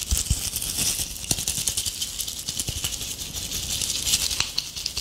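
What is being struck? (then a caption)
Tinsel-covered ornament ball. Long acrylic nails scratch and rake the strands of a palm-sized ornament ball covered in gold metallic tinsel, held up close. The result is a dense, bright, crinkly rustle that runs continuously throughout, with occasional soft low taps underneath.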